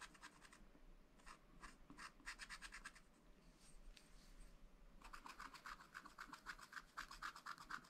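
A wooden stylus scratches fine lines into the black coated sheet of a scratch-art paper pad, making quick, dry, rasping strokes in rapid bursts. After a softer, sparser stretch in the middle, the strokes return faster and denser with a bright, papery hiss.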